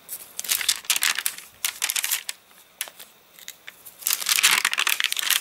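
An open, rain-dried paper catalogue with crinkled, wavy pages is handled as fingers turn the pages and a palm rubs over the paper. The result is a run of bright, dry crinkling and rustling bursts with almost no low end. The loudest, densest rubbing comes near the end.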